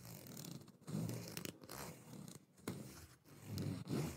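Fingertips repeatedly strum and flick the teeth of a long, solid black plastic fine-tooth comb held near the microphone. The result is a series of raspy, zipper-like scratching bursts with a low, buzzy body and brief bright clicks, each fading quickly.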